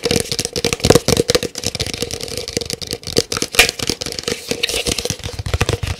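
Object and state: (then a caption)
Large paper cup tapped rapidly. A large, empty, hollow white printed paper cup, held up with its opening facing outward, is tapped rapidly with fingernails. The result is a dense, fast run of short, dry clicks and hollow taps that barely ring, with a bright crackling edge over a faint papery tone near 460 Hz.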